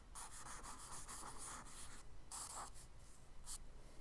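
A charcoal stick tip scratches and scribbles short, rough strokes across a kraft paper sketchbook page. The result is a steady, dry, gritty rasp with bright, hissy bursts, broken by brief pauses and a few sharper scratchy strokes near the end.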